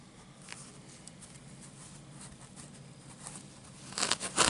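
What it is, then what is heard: Paper playing card deck. Fingertips and short nails scratch and tap the face of a small paper playing card or card deck with a red, dotted-pattern back, held up close. Faint, bright, papery scratching runs through most of the clip with occasional soft ticks, then a cluster of louder, crisp taps and scrapes comes at the end.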